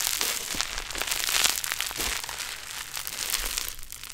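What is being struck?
Foam bead modelling clay.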